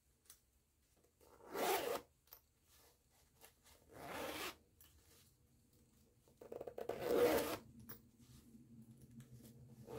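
Long-nailed fingers work the metal pull of a green nylon zipper on a small floral canvas pouch, zipping it open and closed. Three bright, raspy zipping runs stand out, with soft ticks and handling noises between them and a faint rattling texture trailing off at the end.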